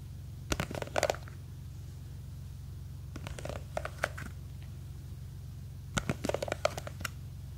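Long green fake nails scratch and tap the side of a small clear plastic jar full of blue gel beads, gripped from above. Three bursts of quick, sharp clicking scratches, around a 600 Hz tone, sit over a steady low hum, with quiet gaps between them.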